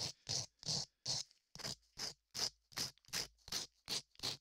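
Latex-gloved fingers rub a small piece of sandpaper over a solid beige modeling clay ear sculpted onto a 3Dio binaural microphone. Short, bright, hissy scratching strokes repeat at a steady pace of about two to three per second, with silence between each stroke. The sound is almost entirely high-frequency rasp with very little low end.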